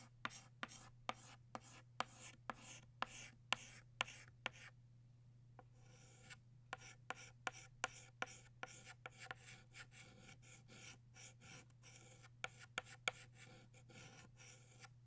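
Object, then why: Chalk stick on a chalkboard. A stick of blue chalk is scratched and rubbed in strokes across a black chalkboard, guided by the fingertips while outlining a butterfly. Quick, dry, bright scraping taps repeat in a steady rhythm over a faint low hum, pausing briefly near the middle before resuming.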